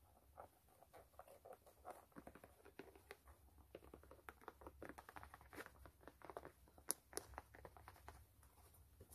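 Long nails scratch and tap on the white canvas upper of a low-top sneaker with metal eyelets. The result is a quiet, dry run of soft, rapid taps and papery scratches with no ring, and a couple of brighter clicks near the end.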